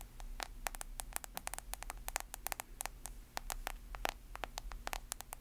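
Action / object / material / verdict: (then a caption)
tap / smartphone with glass screen and plastic case / glass / none. A smartphone held sideways has its glass screen and plastic case tapped and scratched with long nails, making a quick, irregular stream of sharp, bright clicks. Each tap dies away almost instantly over a steady low hum and faint hiss.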